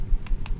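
An Army Painter Fanatic Onyx acrylic paint dropper bottle is shaken, giving three dull, low thumps with no rattle from the mixing ball inside. The ball cannot be heard because the paint is very thick.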